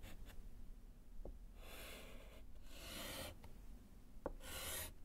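A gloved hand writes with pink chalk on a small, flat, solid slate chalkboard set in a wooden frame. Three separate bursts of bright, raspy chalk scratching are heard, with short taps in between. A low background rumble sits underneath throughout.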